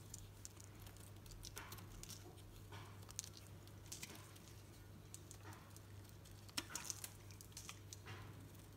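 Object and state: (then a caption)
Soap bar being shaved. A knife blade shaves thin curls from a solid green soap bar held in the hand, making soft, bright scraping and crackling strokes that rise and fade in quick bursts. A steady low hum runs underneath throughout.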